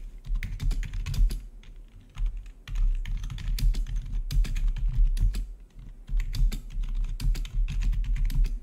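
Fingertips of both hands type rapidly on the keycaps of a full-size black plastic membrane-style gaming keyboard with blue-to-red backlit keys. Dense bursts of soft clicking keystrokes with a deep, muffled thump underneath are broken by brief pauses near two and a half seconds and just before six seconds.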